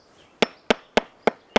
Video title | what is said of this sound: Climbing Tools: The Bolt | you can hear how hollow that is